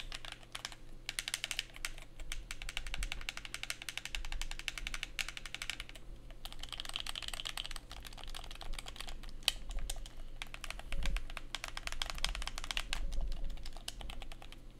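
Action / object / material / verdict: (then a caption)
tap / plastic handheld game controller / plastic / none. A black hollow plastic PlayStation-style handheld game controller is held in both hands while its buttons and surface are rapidly pressed and tapped with thumbs and fingertips. The result is a fast, dense stream of bright, clicky plastic taps that shifts in intensity over a steady low background hum.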